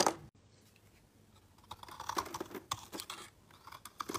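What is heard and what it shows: A metal blade scrapes thin shavings off the edge of a solid, palm-sized, pale green bar of soap with an embossed logo, held in the hand. After a brief burst at the start and a short quiet gap, a run of quick, dry, crackly scrapes and soft crunches follows, bright and crisp with little low end.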